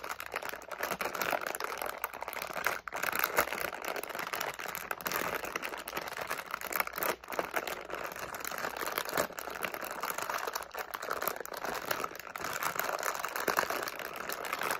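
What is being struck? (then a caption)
Flexible plastic candy pouch with candies inside. A medium flexible plastic SweeTARTS candy pouch with candies inside is held in both hands while fingertips crinkle, squeeze and shake it. The result is a steady, dense crackling and rustling, bright in the mids and with almost no low end. The rapid crinkles run continuously for about 15 seconds with brief dips near 3 and 7 seconds.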